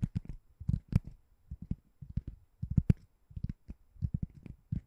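A white ring-shaped door stopper that looks like solid foam or rubber is held above a microphone and tapped and scratched with long nails. Quick clusters of soft, dull, low thuds with brief scratchy edges follow one another, each dying instantly with no ring.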